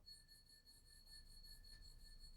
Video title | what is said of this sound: 우암도예 새로운 신상화분 50%+20% 추가할인 #우암도예 #분갈이흙 #다육식물 #다육이 #다육이키우기 #다육하우스 | 이렇게 부딪히지 않고 손으로만 이렇게 스쳐도이 맑은 소리가나요